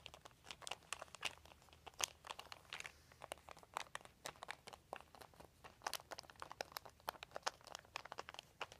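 Fingertips rub and scratch a large, thin, white crumpled plastic sheet. A steady run of sharp, dry crinkles and crackles, bright and quiet, with each snap dying away almost instantly.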